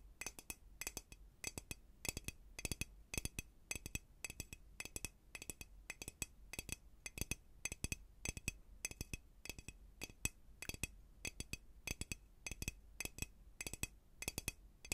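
Fingernails tap a small hollow glass bell-jar cloche holding dried flowers on a wooden base. The result is a long run of quick, bright clinks that die almost instantly, in irregular clusters over a faint low hum.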